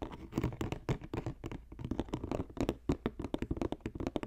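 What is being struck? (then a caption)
Woven plastic strip basket. Fingertips and nails tap and scratch quickly along the side of a green, box-shaped, hollow basket woven from plastic strips. The result is a dense run of short, dry, low-pitched taps mixed with soft scratching that dies away almost instantly.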